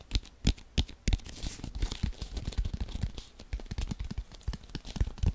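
A hollow, inflated brown leather American football is held in both hands and tapped and scratched with fingertips and nails. Quick, dull, low thumps sound at an uneven pace, with a dry, bright scratching and crinkling rasp filling the gaps between them.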